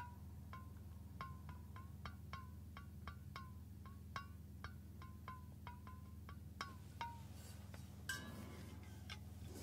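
A fingernail taps repeatedly on the flat base of a stainless steel water bottle, giving short chime-like rings around 1 to 1.6 kHz that fade within about half a second. The taps come at an uneven pace over a steady low hum, and a brief bright rustling sound appears near the end.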